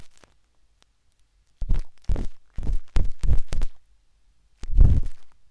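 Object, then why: Silicone ear of a binaural microphone. A metal-tipped, wooden-handled dot stick scratches inside the ear canal of the pale pink, soft, solid silicone ear of a binaural microphone. Close, deep scraping and rubbing bursts come in separate strokes with short gaps, dominated by low rumbling tones with soft bright scratchy edges.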